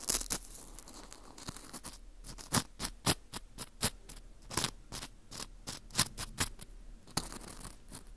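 A metal hook pick scrapes the inner wall of a dry, porous dried wheat gluten ring (fu) held in a gloved hand. The clip is a run of short, crisp, bright scratching and crunching strokes, like paper tearing, over a quiet background. Each stroke dies away almost instantly.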